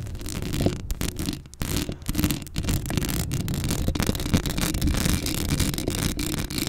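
Long acrylic nails scratch the hollow metal mesh grille of a black Blue Yeti microphone, making a dense, continuous rasping and scraping texture. The sound is heavy in low, rumbling frequencies, with quick, closely packed scratches and brief dips between strokes.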